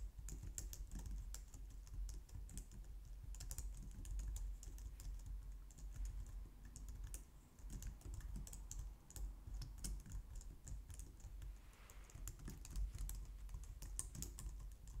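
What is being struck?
Plastic computer keyboard.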